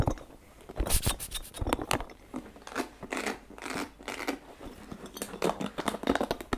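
A small, hollow, orange and blue spiky rubber massage ball is held in both hands while fingertips and nails scratch and squeeze its spikes. The result is a dry, irregular stream of crinkly scratches and brief squeaky bursts with bright edges, each stopping quickly with no ring.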